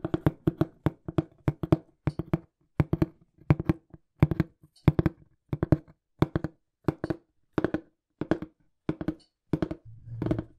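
Fingertips tap quickly on the flat face of a small, hollow, printed brown cardboard shipping box. The result is rapid bursts of dull, hollow, low thuds that die away almost instantly, with brief pauses between the bursts. Near the end, a softer, muffled, low rumbling sound is heard.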